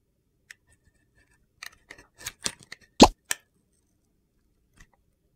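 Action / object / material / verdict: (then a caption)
scrape / soap bar with glitter coating / soap / none. A metal box-cutter blade scrapes the gold and teal glitter coating off a solid rectangular soap bar with an orange inside, held in the hand. Short, dry, gritty scraping strokes come in an irregular series, with one louder, fuller crunchy scrape near the middle. A faint final scratch follows after a pause.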